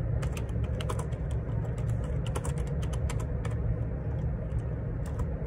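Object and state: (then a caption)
Plastic computer keyboard being typed on. Fingertips type on the plastic keycaps of a black Perixx Periboard 612 wireless Bluetooth dual ergonomic split keyboard resting on a grey desk. A steady stream of quick, light plastic key clicks with bright ticks rides over a constant low hum.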